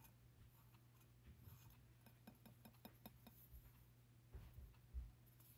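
Fingertips and nails tap on the side of a medium wide glass three-wick candle jar, a Bath & Body Works "Merry Madeleine Cookie" candle with a printed label, partly filled with solid wax and without a lid, resting on a wooden table. The result is a quiet run of short, dry glassy clicks and clinks, each dying away almost at once, over a steady low hum.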